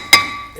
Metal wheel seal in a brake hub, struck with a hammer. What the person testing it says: you can hear that it's ringing